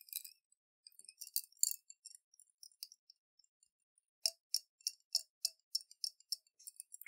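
A clear glass jar with a metal screw lid, holding water and colorful beads, is rotated and shaken by hand. Soft, scattered high clinks and ticks give way to a steadier run of sharp, bright taps as the beads knock against the glass. Each tap stops almost instantly, with no low end.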